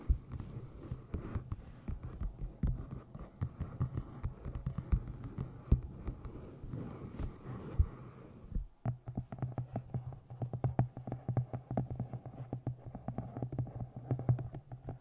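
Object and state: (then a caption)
Hardcover book, solid. Long nails tap rapidly on the front cover and top edge of a solid navy moth-print hardcover book with a printed blue cover, resting on the microphone. The result is a dense stream of soft, deep, muffled thumps that throb like a heartbeat over a low hum. Just before the 9-second mark the tapping turns drier and more distinct.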